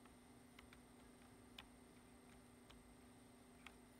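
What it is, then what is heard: Plastic computer keyboard keystrokes. Fingertips press the keys of a black plastic computer keyboard, making sparse, quiet typing taps with short, clicky bright transients spread across the clip. A steady low hum and a faint high whine run underneath the whole time.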